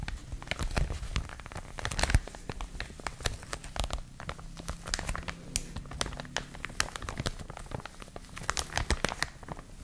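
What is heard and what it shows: A clear, thin plastic bag wrapping a printed product is crumpled and crinkled between both hands, using long nails and fingertips. The result is a dense, continuous stream of sharp, bright crackles and snaps over a soft low rumble, each crackle dying away almost instantly.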